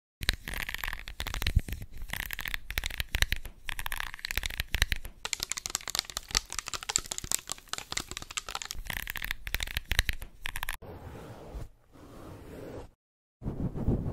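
A small, flat, hand-drawn pink paper cutout of an oval hairbrush, thin and not hollow, is held in both hands while long red acrylic nails tap and scratch across its drawn bristle surface. Dense, crisp crinkling taps and bright scratching run for about eleven seconds. They then give way to a softer, quieter rustle, a brief silence, and a final burst of handling.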